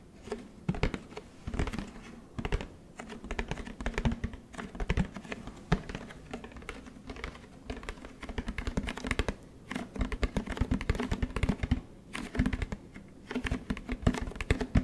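Fingertips tap rapidly and continuously on the hollow plastic body of a large orange Tide detergent jug held sideways close up. Each tap is a short, dry, hollow knock with a low resonant tone and almost no ring, and the taps come in irregular bursts like fast typing.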